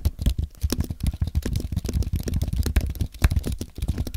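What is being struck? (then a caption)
Aluminium and plastic computer keyboard. Fingertips type rapidly on a compact white aluminium and plastic Apple keyboard, producing a steady stream of soft, low, muffled key thuds. Each keystroke is short and dry with almost no ring and very little brightness.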